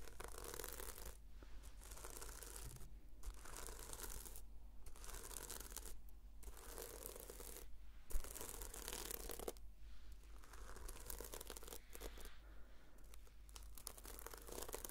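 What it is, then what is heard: Sequin-covered notebook being scratched. Long fingernails scratch and brush across the sequin cover of a red sequin-covered notebook, making soft, bright, crinkly rasping strokes that come in bursts separated by short pauses. The sound stays quiet throughout, over a steady low hum.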